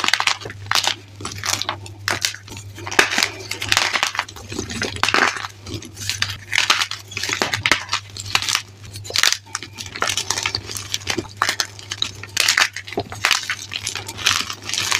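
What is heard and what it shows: Chalk-covered hands press and crush grey gym chalk chunks in a bin with fingertips and palms, with the chalk topped with holi powder. Dense, dry, brittle crumbling and crackling fills the clip in bright bursts over a faint steady low hum.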